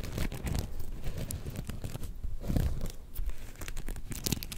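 A palm-sized soft star-shaped plush covered in black and gold flip sequins is held in both hands and scratched with long painted nails so the sequins flip. The result is a dense, continuous run of crinkly scratching and rustling, mostly low and soft, with occasional sharp bright clicks.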